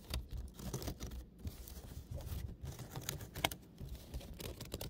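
A woven basket is tapped and scratched close to the microphone as an ASMR trigger. Soft, dry crackling scrapes mix with quick, light taps that die away almost at once, over a low, muffled body with bright clicky edges.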